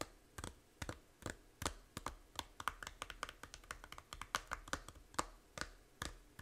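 Long nails tap the front cover of a small, hollow plastic Fantasy Life 3DS game case, making about thirty quick, dry clicks in an uneven rhythm. Each tap is a sharp, bright tick with a hollow plastic tone that dies away almost instantly, much like keyboard typing.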